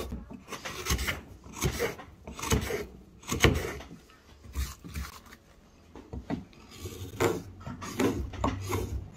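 A metal hook knife held in the hand scrapes and carves the inner surface of a deep hemispherical hollow in a square pine block, a light softwood, empty apart from shavings. Irregular rasping, rubbing strokes come in short bursts with a low woody body and bright scratchy edges, quieter in the middle before picking up again.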